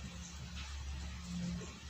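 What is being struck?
Nothing is struck.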